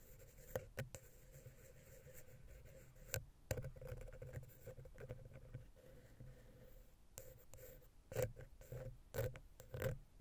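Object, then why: Metal mesh microphone capsule grille. A wooden ear pick slowly scratches between the small, hollow silver XY capsules of a Zoom H6 recorder, dragging across the metal mesh grille. Soft, close scratching and low rumbling handling noise are broken by sharp clicks and taps, with a faint steady hum underneath.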